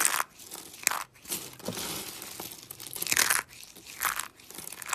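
A pile of small orange and green dry soap flakes is squeezed and crumbled between fingers with painted nails. The result is a run of dry, bright crunching and crinkling bursts, mostly high in tone with almost no low end, and each crackle stops short with no ring.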